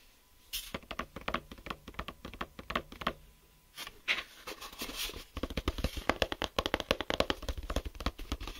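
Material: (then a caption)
Plastic. Fingertips and nails tap and scratch the lid of a closed, hollow clear plastic geometry set case with a grey ribbed hinge and tools inside. The result is a fast run of short, dry clicks and scratchy taps with no ring. The taps pause briefly around the middle, then return denser and louder until the end.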